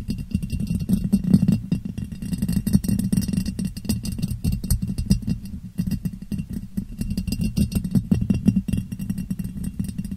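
A clear, hollow, empty ribbed glass jar, turned upside down over the microphone, is tapped on its ribbed sides with long painted nails. A fast, continuous flurry of short clicking taps runs for about ten seconds, with a boomy low resonance around 190 Hz under bright, high ticks.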